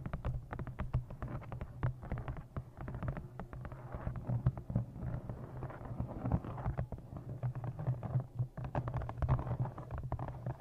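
A thick brown embossed leather journal, held close in front of a microphone, is tapped with long nails on its cover and top edge. The result is a rapid, uneven stream of short, dull taps that die away almost at once, over a heavy, steady low-pitched rumble.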